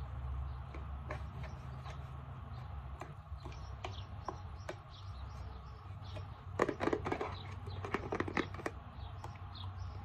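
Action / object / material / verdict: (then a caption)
tap / plastic alcohol bottle / plastic / none. A hand-held Equate 70% isopropyl alcohol plastic bottle is tapped with a fingernail on the label and near the cap, giving light, quick clicks over a steady low rumble. The taps come sparse and irregular at first, then cluster into a denser, louder burst partway through before thinning out again.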